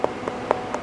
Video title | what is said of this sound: SUB｜水果之王"榴槤"一棵樹年產400顆! 帶來龐大經濟價值 辨別榴槤熟度有眉角 先放4晚再"敲敲打打" 熱帶水果再加工打造果乾王國│記者 黃瀞瑩 曾建勳│【消失的國界】20240105│三立新聞台 | It has a slightly hollow sound like this. But it's not very ripe yet